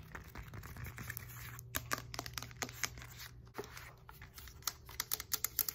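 Long nails tap and scratch the knobs of a black textured foam roller and its hollow white core. The result is a rapid, uneven run of sharp, bright clicks and dry scratchy rasps over a faint, steady low hum, with the taps getting crisper and more spaced toward the end.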